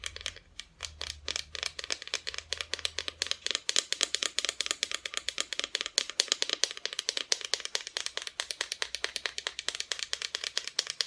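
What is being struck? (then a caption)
Small wooden Christmas ornament. Close-up rapid tapping on a wooden Santa Christmas decoration. Dense, fast, bright clicks with almost no ring come in a continuous run across the whole clip, with a faint low hum underneath in places.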